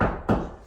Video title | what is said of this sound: Dropping in the vanity top and simple trim begins. | that hurts the knuckles because it's very firm